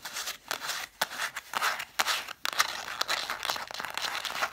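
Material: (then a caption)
Cloth and board. Long dark nails tap and scratch quickly along the cloth-covered spines of a stack of red vintage hardcover books. The sound is a rapid run of dry, bright taps mixed with crinkly scratching, with brief pauses between bursts. It has almost no low end and each tap stops instantly, with no ring.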